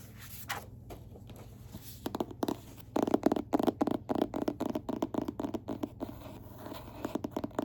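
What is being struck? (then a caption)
Hardcover book cover. Fingertips tap and scratch on the cover of the hardcover book *Next to Heaven*, ranked number 11. After a quiet, scratchy start, quick uneven taps begin around two seconds in and grow densest in the middle. The taps are soft, dry, mid-pitched and decay instantly over a faint low hum.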